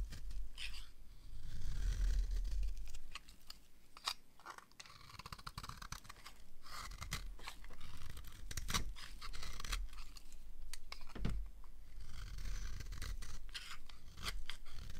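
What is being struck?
Bar of soap scraped with a small blade.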